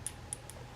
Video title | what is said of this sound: Birdmoss - The Thunderstorm - July 2025 | It sounds like glass, right? Because yeah, you can hear the the sound of it. And it is hollow like she said.